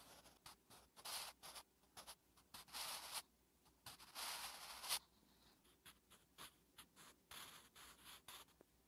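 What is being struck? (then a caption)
Graphite pencil on a thin paper notebook page. A wooden graphite pencil held in the fingertips writes Korean letters on a thin lined paper notebook page resting on a flat surface. The graphite scratches across the paper in short, bright, dry bursts of varying length with quiet gaps between strokes. The longer sweeping strokes sound louder and hiss more.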